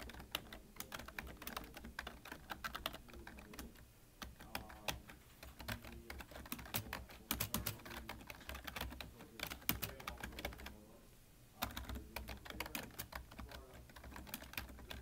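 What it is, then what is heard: Plastic computer keyboard. Fingertips of both hands type continuously on a full-size black plastic computer keyboard with a hollow body. The result is a dense stream of short, bright key taps with a hollow clack, easing briefly around 4 and 11 seconds before picking back up over a steady low background.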